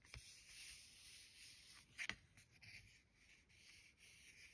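Long gold-tipped nails and fingertips trace and rub across a thin, solid card-stock greeting card with a boar illustration, lying flat on a stack of cards. The result is a quiet, bright, hissy scratching that stays mostly in the high range, with a few sharper nail clicks, the loudest just after two seconds.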